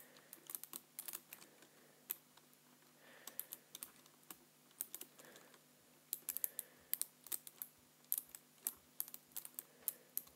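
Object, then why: Plastic computer keyboard. Fingertips type on the keys of a black plastic computer keyboard, the hand moving across the keys. Quiet, bright, crisp clicks come in irregular bursts with brief pauses, each tap dying away almost instantly over a faint steady low hum.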